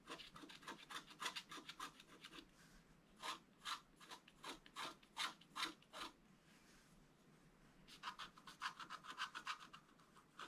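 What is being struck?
Black-coated scratch-art card and wooden stylus.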